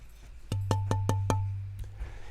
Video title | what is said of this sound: How to Build Your Own Guitar - LIVE! Part 1: Where to start | You can kind of ignore the pitch, really. What we're listening for is the quality of the sound, the sustain.